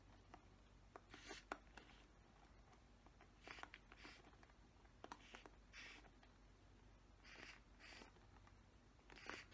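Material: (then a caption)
Plastic. Fingernails scratch across the bristles of a black plastic paddle hairbrush, making a series of short, dry, bright scratching bursts over a quiet, steady low hum.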